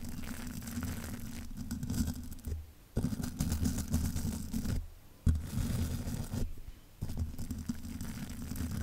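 A spoolie brush is scratched repeatedly across the hollow mesh grille of a large black metal microphone. Dense, bristly scraping with a boomy low rumble comes in continuous bursts, broken by a few brief pauses as the brush is lifted and starts again.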